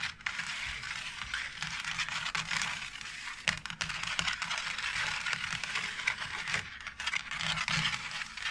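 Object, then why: Embossed plastic faux brick wall panel. Long nails scratch and scrape across the textured bricks of a white embossed plastic faux brick wall tile panel. The result is a steady, bright, dry rasping with little low end, broken by scattered short, sharp clicks and ticks as the nails catch on the raised edges.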